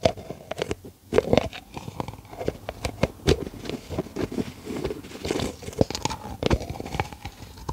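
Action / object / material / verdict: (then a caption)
tap / plastic tub with plastic screw lid / plastic / none. Long acrylic nails tap and scratch the yellow plastic screw lid and sides of a hollow, medium cylindrical plastic tub with a white label, held in the hand. Many quick, dry, clicky taps with almost no ring mix with rustling scratches, centered in a hollow midrange around 600 Hz with bright edges.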